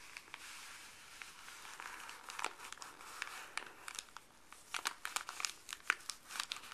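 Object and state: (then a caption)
Paper bag being crinkled. Fuzzy gloved fingers rub, lift and crinkle a folded, empty printed white paper pharmacy bag. Dry, bright crinkles and papery rustles come in quick irregular bursts over a soft, steady hiss, with almost no low end.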